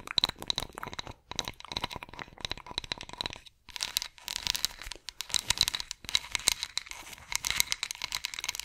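A solid ridged wooden massage roller with carved rings is scratched with long acrylic nails, giving rapid, dry, bright scratching and clicking over a continuous high rasp with steady tonal streaks. The scratching comes in dense bursts separated by brief pauses, with almost no low end.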